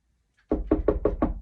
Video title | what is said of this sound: F1 Guess the Sound Game (Phonics) 14/01/21 | that is me knocking on the door